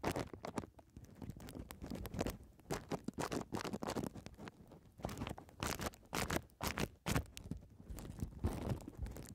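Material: Plastic.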